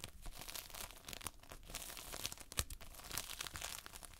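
Multicolored Playfoam, foam beads held in a sticky binder, is pressed with a whole hand and squeezed between fingertips up close. It gives a dense run of soft, bright crackles and crinkly pops with sticky tearing textures, each snap short and dry.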